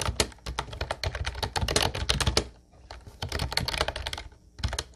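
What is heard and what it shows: Both hands type steadily with their fingertips on an Ubotie mint-blue plastic retro typewriter-style keyboard with round white keycaps. Rapid, bright, clacky keystrokes with a low thud beneath each press come in dense bursts, with a short pause near the middle and another near the end.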